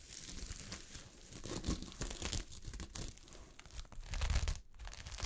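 Long fingernails scratch and brush against the grain of a sheet of fabric covered in small gold sequins. The result is a continuous, bright, crinkling rasp with tearing-like scrapes over a soft low rumble. It swells and fades as the strokes speed up and slow down.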